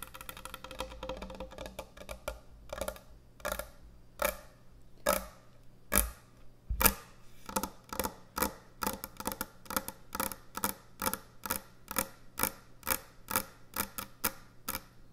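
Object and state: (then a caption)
Wooden end-grain cutting board. Long nails tap and scratch on a large, thick, solid wooden end-grain butcher block cutting board. A dense, bright scratching opens the clip, then gives way to quick, dry taps at a loose, uneven pace, each one short with almost no ring, over a faint low steady hum.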